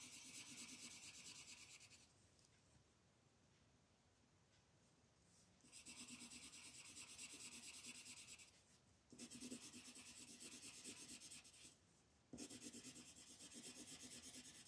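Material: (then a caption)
Paper. A green wooden colored pencil rubs and scratches over a flat white paper coloring page lying on a table. It comes in four bursts of dense, rapid, bright scratchy hiss separated by quiet pauses. The strokes are fast and fairly even within each burst.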